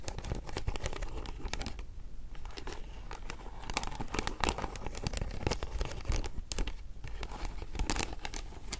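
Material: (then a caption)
Glass beads. Long nails scratch along the rows of faceted glass or acrylic beads on the side of a hollow vintage beaded flower clutch as it is held and tilted. The result is a steady stream of dense, dry crackling and ticking clicks, with brief bright transients over a low, muffled rumble.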